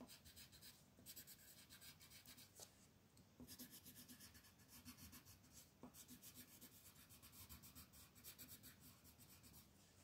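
A dark green colored pencil is rubbed in fast shading strokes across a white paper mandala coloring sheet. The result is a dense, continuous scratching with bright, high rasp and a soft low rumble. Brief pauses come near 1, 3.4 and 5.8 seconds.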